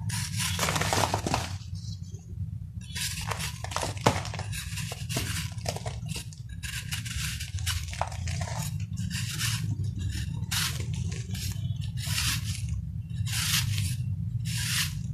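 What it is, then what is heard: Compacted sand-cement ball being shaved. A hand-held, palm-sized solid ball of compacted sand and cement is scraped and shaved with a metal kitchen knife, with three similar balls resting on foil nearby. Repeated bursts of bright, gritty scraping come from each stroke as powder crumbles off, over a steady low hum.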